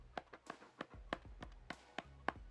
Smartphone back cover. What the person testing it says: it sounds like something is empty